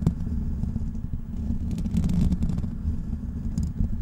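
Fingertips of both hands scratch the hollow black metal mesh grille of a large desktop microphone. The result is a dense, continuous low rumble with a muffled pitch around 164 Hz, flecked with faint bright ticks. The level swells slightly in the middle and stays steady with no clear gaps.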